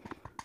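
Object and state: Hollow Blu-ray package.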